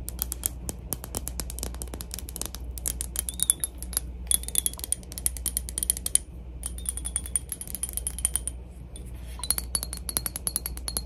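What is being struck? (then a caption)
Glass cologne bottle. A PacSun glass cologne bottle is tapped rapidly for ASMR, producing a dense stream of short, sharp clicks. Faint high, bright ringing tones come and go between the taps, over a steady low hum.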